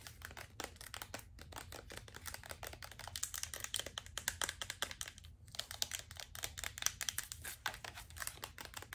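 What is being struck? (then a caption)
Plastic lotion bottle. Long acrylic nails rapidly tap and scratch a medium-size, apparently full white plastic lotion bottle with a gold band and white cap. Dense, crisp clicks and scratchy crackles sound bright and dry, with almost no ring. A brief pause falls just past the five-second mark before the fast tapping resumes.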